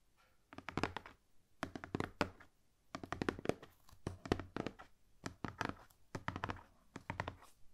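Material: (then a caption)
Cardboard. Long painted nails and fingertips tap quickly on the lid of a large, rigid, hollow cardboard gift box. The taps come in rapid bursts separated by short pauses, each one a dull, hollow thunk that dies away almost instantly with no ring.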